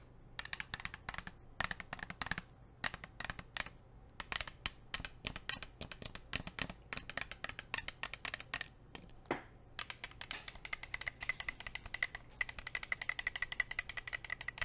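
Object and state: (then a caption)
Plastic water bottle. Long nails rapidly tap and scratch a blue plastic sports water bottle with a black cap, producing a dense stream of short, bright plastic clicks with a faint ringing tone near 2 kHz. A steady low hum sits underneath the taps throughout.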